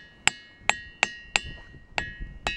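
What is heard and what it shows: A diabase boulder in the Ringing Rocks boulder field in Bucks County is struck six times with a hammer. Each strike gives a sharp metallic clink, and the rock rings with a bell-like tone that holds steady pitches near 1.7 and 2.7 kHz between hits.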